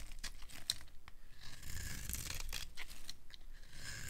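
A metal knife scrapes a dry, silver-painted Ivory soap bar, solid white inside, peeling it into curled shavings. The sound is a run of dry, crunchy, tearing rasps with a bright, hissy edge over a low, soft rumble.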